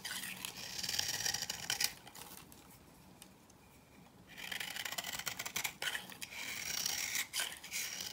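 A knife scrapes and cuts crisp shavings from the dry surface of an old, solid cream-yellow bar soap held in the hand. Bright, dry rasping and crunching strokes fill the first two seconds, fade to a near-quiet lull, then return in a steady run of scraping until the end.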